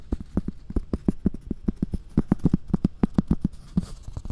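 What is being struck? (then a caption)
Thin round cork coaster. A round, thin, solid cork coaster, held beside the ear of a binaural dummy-head microphone, is tapped and scratched with long red-painted nails. A quick, uneven run of dull, muffled taps centred low around 190 Hz, each dying away almost instantly, is joined by faint, brighter scratchy rustles between and over the taps.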